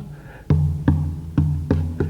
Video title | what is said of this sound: Wild Wednesdays Walt Bolton on Folklore | you hold on to it with the sound hole and you thump it and you can hear the resonance